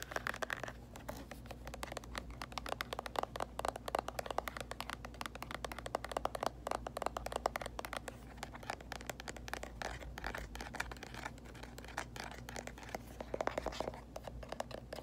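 A white plastic lotion bottle with a blue cap and printed label, hollow and holding lotion, is held in the hands, tilted, and tapped and scratched with long painted fingernails. Rapid, dense, sharp clicking taps mix with scratchy scraping over a steady low hum throughout.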